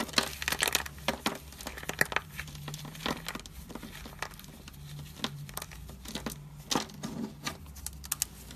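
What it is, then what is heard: Dry soap chunks. Dry, brittle chunks of white/cream bar soap coated in soap powder are squeezed and crumbled between fingers and palms in a pile on a white surface. Dense, crisp crunching and crinkling crackles come in bursts of sharp, bright snaps over a faint low hum.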